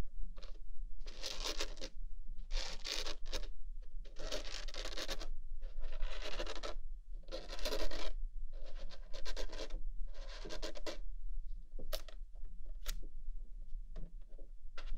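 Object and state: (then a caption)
Small cardboard box. Long nails scratch the sides and faces of a small white printed Rode cardboard box held in the hands. Repeated bursts of dry, bright scratching, each lasting about a second, come in bunches with short pauses between them. A steady low hum runs underneath throughout.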